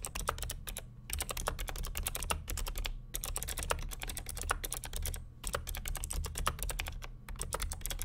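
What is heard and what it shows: Fingertips of both hands type continuously on the plastic keycaps of a vintage beige NMB RT8255C+ mechanical keyboard with Hi-Tek "Space Invader" clicky switches and a hollow plastic case. Rapid, sharp, bright clicks come in bursts, broken by brief pauses, over a steady low rumble.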